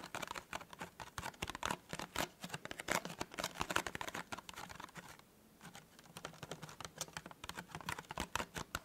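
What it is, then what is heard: Cardboard gift box tapped with fingertips. Fingertips and nails tap fast on the folded top of a small, hollow, white printed cardboard tea gift box. The result is a quick, uneven patter of short, dry clicks with a bright edge, broken by a brief pause a little past the midpoint.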